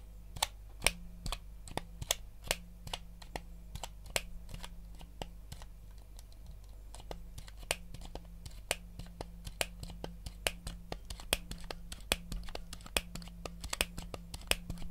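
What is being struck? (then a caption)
Plastic game controller. A white, hollow plastic Nintendo GameCube controller is held in both hands while fingertips tap and click its buttons and scratch its shell. Dozens of sharp, dry, bright clicks and taps ring out over a steady low hum, with faint scratching between them.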